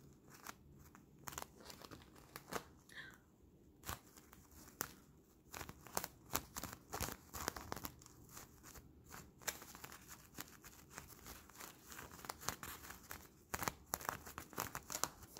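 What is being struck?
Blown plastic-paste balloon bubble.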